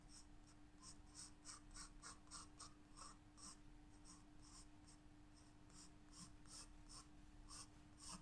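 A graphite pencil sketches flower outlines on a white paper page of a spiral-bound sketchbook lying flat on a table. Steady, repeated scratching strokes give off quiet, bright bursts over a constant low hum.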